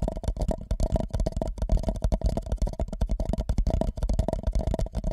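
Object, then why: Empty paper cup. An empty white paper cup held over the microphone is lightly tapped and rubbed with the fingertips of both hands. The result is a rapid, dense run of soft, muffled thumps and scratchy rubbing, deep and boomy with a hollow ring around 600 Hz. Each tap dies away almost instantly.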